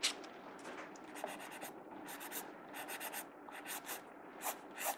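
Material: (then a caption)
Paper. A blue mechanical pencil's graphite tip scratches across the paper page of an open sketchbook lying flat on a wooden table, shading and drawing. Repeated bright, scratchy strokes come in short bursts over a faint, steady papery hiss.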